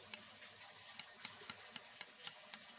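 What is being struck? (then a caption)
Steel knife blade. A finger taps the mirror-finished steel blade of a Jarvis bullnose knife eight times, each tap giving a short, bright high-pitched ting. The steel blade rings normally, with the sharp tings standing out over a faint steady hiss.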